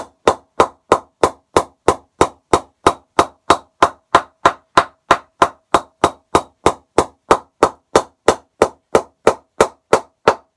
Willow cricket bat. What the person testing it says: decent ping in the middle